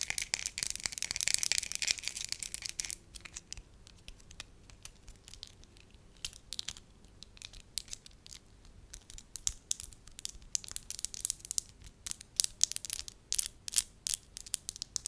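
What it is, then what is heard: Soft wax sheet. Long nails fold, pinch and crinkle a palm-sized, pale-yellow soft wax sheet into a rolled shape. A dense, bright crinkling fills the first three seconds, then gives way to sparse, sharp, high crackles and clicks that cluster more thickly toward the end.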